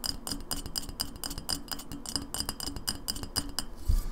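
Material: Glass.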